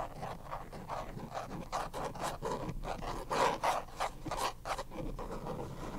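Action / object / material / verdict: tap / small plastic card deck box / plastic / none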